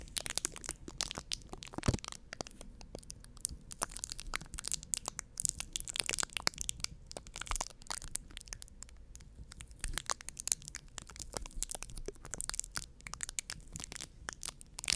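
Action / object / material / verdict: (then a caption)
scrape / foam microphone windscreen / foam / none. Long painted nails and fingertips scratch and squeeze a round, soft, porous white foam windscreen covering a microphone. The result is a dense, continuous run of crackling, crunching, and rustling bursts, bright and sharp with almost no ring, over a low rumbling bed.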